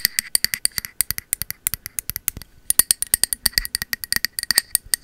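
Long metal finger-claw nail caps rapidly tap the body of a peach matte ceramic cylindrical candle vessel with a bamboo lid, held sideways. The result is a fast, irregular stream of short, bright clicks with almost no ring or low end, broken by a brief pause in the middle.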